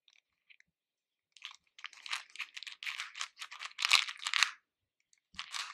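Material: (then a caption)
Sugar candy. Fingertips dig into a pink plastic bowl full of small hard-shelled candies, lifting them and letting them fall back. The result is a run of dry, bright, crunchy rattles and clicks with no low end. A few faint clicks come first, then a dense stretch of rummaging and a final short burst.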